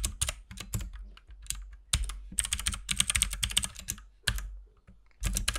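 Both hands type with their fingertips on a compact RGB mechanical keyboard with white and pink plastic keycaps. Dense, rapid key taps come in bursts separated by brief pauses. Each tap is a short, bright click with a soft low thud beneath it.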